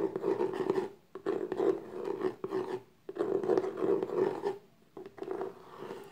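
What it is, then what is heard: Cardboard gift box scratched with nails. Long nails scratch and rub the lid of a small, closed, hollow black textured cardboard gift box held in the hand. Bursts of dry, raspy scraping with a hollow papery resonance come and go, separated by short pauses.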